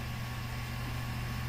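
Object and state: Nothing is struck.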